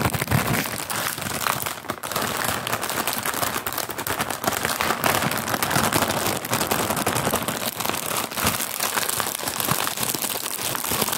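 Fingertips squeeze, crinkle and rub a flat printed plastic cookie wrapper with a Cookies label and a hazelnut cookie picture, held in both hands and still full of cookies. A dense, continuous crackling crinkle fills the clip with bright, crisp snaps over a softer rustle. It stays steady for about eleven seconds, with a brief dip near the two-second mark.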